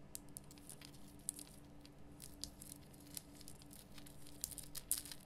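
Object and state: Himalayan rock salt lamp.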